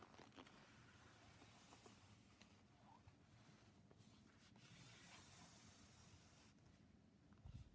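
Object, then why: Leather sheet and leather gloves. Two hands in purple-brown leather gloves rub, stroke and scrunch a large, flat, glossy red leather sheet, making a quiet, continuous leather-on-leather creak and swish. Soft friction noise runs throughout, with a brighter hiss through the middle and a few firmer scrunches near the end.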